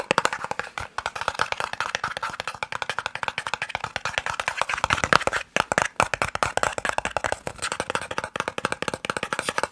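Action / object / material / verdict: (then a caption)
tap / small cardboard box / cardboard / none. A small, hollow white and red cardboard eye drops box is tapped quickly with the fingertips and nails. The result is a dense stream of dry, papery clicks with almost no ring, centered around 1.3 kHz with some bright top and very little low end. There are a few brief pauses near the middle.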